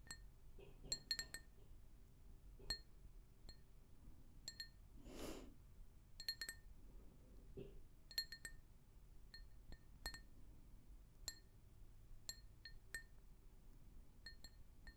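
A medium, hollow, empty pink glazed ceramic mug, held in one hand, is tapped with long nails in quick, irregular bursts, each tap giving a short, bright, high clink that fades almost at once. Around the middle, a soft breathy whoosh passes under the taps, and the whole clip stays quiet over a low, steady background.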